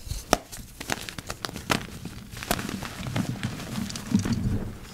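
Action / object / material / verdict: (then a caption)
scrape / block of gym chalk / chalk / none. Two hands in yellow rubber gloves squeeze and crush a heap of dry, crumbly purple-dyed gym chalk powder with chunks. Sharp, bright crackles and crunches break out over a steady low, gritty crumbling as the chunks give way and the powder grinds between the fingers.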